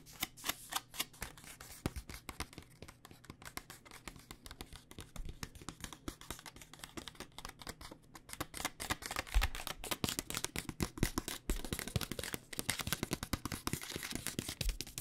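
A plastic pouch of dry rice noodles is held in hand and tapped with long painted nails. The result is a rapid, uneven stream of crisp plastic clicks and crinkly rustles with soft low thumps. The tapping grows busier and louder over the second half.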